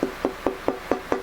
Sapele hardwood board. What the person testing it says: a beautiful tap tone you know as a dense hardwood so you can hear nice and bright